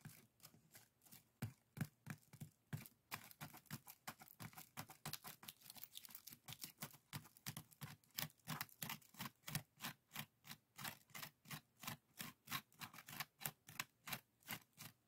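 Fingertips and nails scratch and rub the strips of a small, hollow, empty pair of woven split-bamboo bokjori strainers. The result is a quiet, steady run of dozens of quick, dry, scratchy strokes with bright, crisp edges and a faint hollow low body, each dying away almost instantly.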